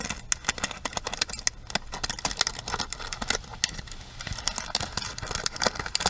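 Long nails scratch across the bristle pins and tap the frame of a pink plastic paddle hairbrush, making a rapid run of bright, dry clicks and scratchy rasps. Each tick stops almost at once, with very little low end beneath them.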